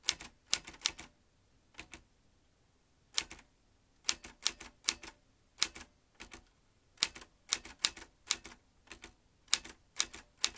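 Fingertips type on the round keys of a vintage metal manual typewriter, producing sharp, bright clacks in quick irregular bursts separated by short pauses. Each tap is crisp and high with almost no low end, and it dies away almost instantly.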